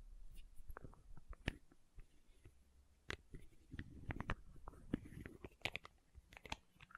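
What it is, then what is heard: Plastic condiment bottle tapped and scratched. Long nails tap and scratch a small labeled plastic condiment bottle with a red plastic cap, all over the cap and the body. Quiet, dry, sharp ticks and clicks come at an irregular pace, with a soft scratchy rustle building in the middle. Each tap stops dead with no ring.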